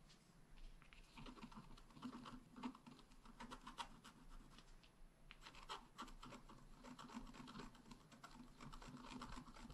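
A long wooden stylus scratches fine lines into the bicycle area at the center of a flat black wax-coated scratch art card while the other hand holds the card. The result is a soft, continuous run of dry, rasping scratches and quick strokes, easing briefly midway before resuming.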